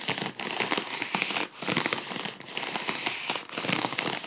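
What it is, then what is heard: Foil balloon crinkled. A gold mylar foil balloon is held in one hand while the other hand's fingertips and nails pinch and crinkle a folded edge. This produces dense, bright, crackling crinkles with little low end, broken by a few brief pauses.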